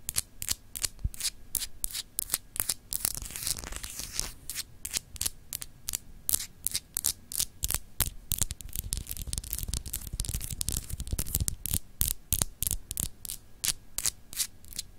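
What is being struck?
Solid glass globe paperweight.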